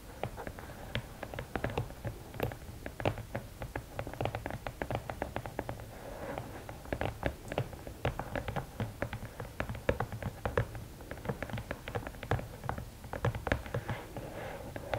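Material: Cardboard.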